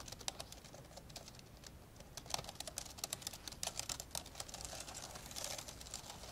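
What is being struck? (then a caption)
Plastic laptop keyboard keys. An old dark grey plastic laptop lies open while fingertips type fast with both hands on its plastic keys. Quick, bright, dry clicks and taps patter in an uneven stream with almost no ring, and some keystrokes stand out sharper than the rest.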